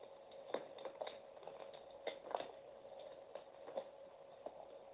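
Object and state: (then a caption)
Bar soap being carved. A metal utility knife blade slices and shaves pieces off a solid, partly carved peach bar of soap held in the hand. Quiet, crisp scraping cuts come in short bursts over a steady faint hiss, with a few sharper slices standing out above the soft shaving.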